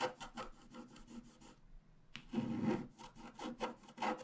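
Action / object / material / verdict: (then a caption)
scrape / coated scratch-art paper card scraped with a wooden stylus / coated paper / none. A wooden stylus point scratches across the black coating of a flat A4-size scratch-art sheet, which has a rainbow layer underneath and lies on a table while the other hand holds it. Quick, dry scratching strokes rasp in a steady rhythm, pause briefly, then return as a louder, denser scrape followed by more short strokes.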